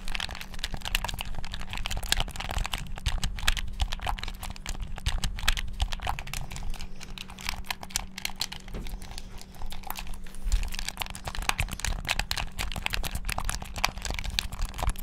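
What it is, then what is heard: Plastic game controller, buttons mashed. Fingertips and thumbs rapidly press and mash the buttons of a hand-sized, hollow black plastic gamepad held in both hands. The result is a dense, continuous stream of quick, dry, clicky taps with bright edges, heard over a steady low hum.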